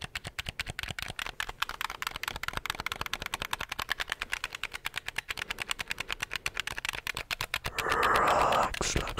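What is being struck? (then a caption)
Plastic gamepad buttons and triggers. A handheld black plastic gamepad, held in both hands, is clicked rapidly by fingertips on its buttons and triggers. The result is a steady stream of sharp, bright plastic clicks. Near the end, a louder, sustained rushing noise rises briefly over the clicking.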